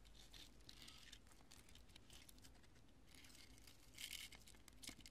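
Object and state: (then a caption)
Cured polyurethane foam pieces. Long nails tap, press and scratch small, cured, pale-yellow chunks of porous, solid polyurethane expanding spray foam resting on a purple cloth. The result is a quiet, steady stream of dry, crinkly crunching and scratchy rustling with bright, crisp detail over a faint low rumble, growing slightly louder near the end.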